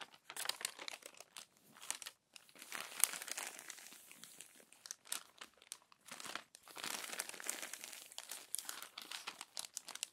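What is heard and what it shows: Long nails turn and smooth the crumpled, crinkled pages of an open glossy paper magazine. Quiet, dense, bright crinkling and rustling comes in bursts, with brief near-silent gaps around the two- and six-second marks. There is no low-end weight and no ring after each crackle.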